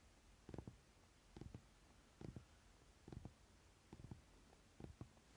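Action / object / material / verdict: scrape / paper playing card deck / paper / none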